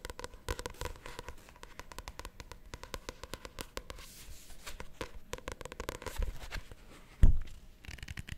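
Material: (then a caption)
Paper. A paperback novel with a glossy cover is tapped and scratched on its cover and spine with long nails. The result is a steady run of quick, dry clicks and light scratching, mostly soft and low, with one louder thump near the end.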